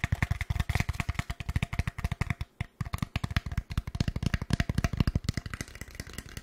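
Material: Styrofoam.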